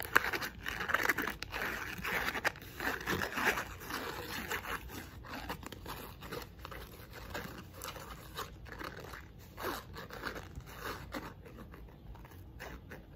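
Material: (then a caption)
Wood. A small square pink painted wooden block box with a painted eye is held in the hands while long nails scratch and tap its surface. The result is a stream of dry, crunchy scratches and light clicking taps. These are bright and closely spaced, loudest in the first few seconds, then settle into a steadier, softer texture.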